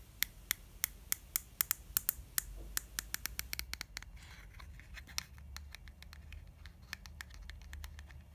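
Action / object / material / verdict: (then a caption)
tap / soft plastic cream tube / plastic / none. Long fingernails tap and scratch the face of a lilac soft plastic cream tube held in the hands. A rapid series of sharp, bright clicks stands out at first, then fades into quieter, closely spaced ticks and light scratching over a faint low rumble.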